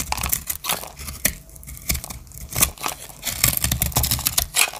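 A solid rectangular bar of pink, green and blue marbled dry soap is held in the hand while its edge is shaved with a small metal blade. The sound is a series of crisp, bright cutting and scraping strokes with short dry crunches and quiet gaps between them.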